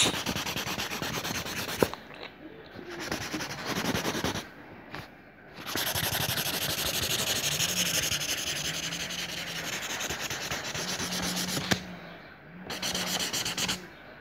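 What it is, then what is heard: Marker scribbling on notebook paper. A teal marker rapidly scribbles zigzag lines around a circle on a lined paper notebook page, rubbing the paper continuously. Bright, scratchy, fast strokes come in several long bursts separated by short pauses, with a couple of sharp ticks as the tip meets the page.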